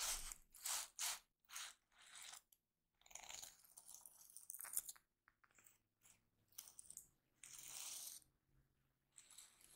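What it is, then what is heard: Sequin-covered journal. A flip-sequin unicorn diary held upright has its sequin cover rubbed and scratched by a flat hand, fingertips and short nails, flipping the sequins. The result is bursts of rapid, bright clicking and crunchy scratching, separated by short pauses.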